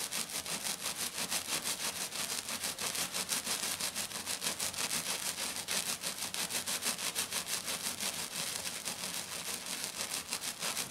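Both hands with black nails scratch quickly back and forth over a flat, silver, glitter-covered sheet. The result is a steady, fast run of bright, hissy scratching strokes at roughly three per second, with almost no low end.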